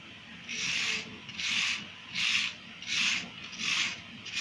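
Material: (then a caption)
Sand-cement. A handheld wire-loop carving tool with a red handle shaves and scrapes the top of a rectangular, solid, crumbly grey soft sand-cement block held in a plastic-lined tray, and loose powder falls off. About five steady, bright, gritty scraping strokes come in a regular rhythm, each a hissy rasp with quiet gaps between.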